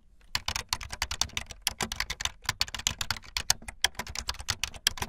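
Fast typing on a full-size, backlit plastic Bluetooth membrane keyboard with white and blue plastic keycaps and a hollow plastic body, the keys pressed with fingertips and the tips of long painted nails. A rapid, uneven run of short, bright, clacky key clicks with a slight hollow thud beneath them, each click dying away almost instantly with no ring.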